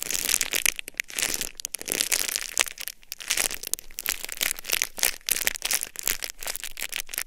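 A sealed, palm-sized, flat red-and-white plastic packet of a Hokaron disposable hand warmer is held in both hands and crinkled and scratched with long nails and fingertips. The result is a continuous run of bright, dry crackles and crinkles that sit mostly in the high range, with very little low end. Short, sharp bursts rise and fall throughout, with no ringing after each one.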